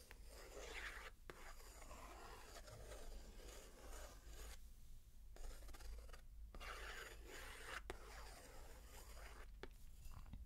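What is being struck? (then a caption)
Paper picture book page traced with a wooden stick. A wooden stick traces across the illustrated paper page of a large open picture book lying on carpet, while a long-nailed other hand rests on the paper. Steady scratching and rubbing strokes sweep up and down with a few brief pauses, over a constant low rumble.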